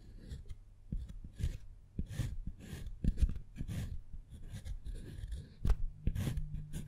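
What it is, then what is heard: Dark chocolate bar being carved. A wooden-handled metal carving tool, held in the fingers, scratches and carves names into the surface of a segmented solid dark chocolate bar. Short, dry scraping strokes come in uneven bursts with soft bright hiss, small clicks and low thuds. The carving leaves shavings behind.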